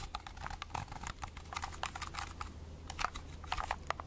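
Long red-painted nails tap rapidly over a small hollow plastic Agfa pocket compact film camera held in both hands. Quick, light, dry clicks with a slightly hollow plastic tone come in an uneven, continuous flurry, each cut off almost at once over a faint steady low hum.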